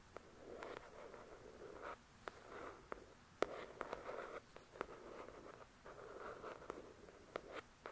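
Long acrylic nails scratch and tap the glossy card cover of a thick paperback book. Soft, papery scratching swells in bursts in the low-mid range, broken by sharp, dry taps that die away almost at once.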